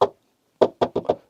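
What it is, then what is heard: Thick car windshield. Knocking on the front windshield of a Suzuki Wagon R Hybrid FX-S 2WD gives five short, dull knocks: one single knock, a pause, then four in quick succession. Each knock dies away almost at once with little ring. The glass sounds thicker and less hollow than a thin windshield.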